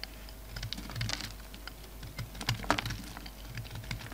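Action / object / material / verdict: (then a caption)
scrape / soap bar scraped with a knife blade / soap / none. A utility knife blade scrapes and cuts flakes off a solid black and white bar of soap held in the hand. The result is a quiet run of quick, dry, crisp ticks and short scratches with bright edges, a few of them sharper, over a faint steady low hum.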